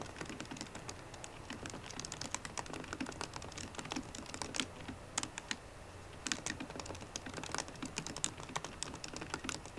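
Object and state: Laptop keyboard typing.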